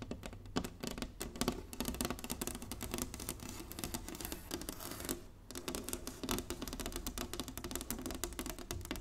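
Long nails tap rapidly across a flat, solid inlaid wooden chessboard, producing a dense stream of short, dry clicks with a woody knock around the low-mid range. The taps continue steadily for about nine seconds, with a brief dip partway through before resuming.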